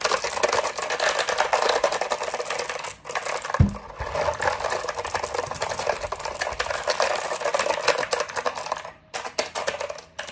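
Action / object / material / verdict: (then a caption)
tap / plastic computer keyboard / plastic / none. A compact black plastic mechanical keyboard, held upright, is tapped and scratched rapidly by fingertips and nails across its keycaps. The result is a dense, continuous stream of fast clicky taps and bright scratching. There is a brief low thump near four seconds and short pauses around three and nine seconds.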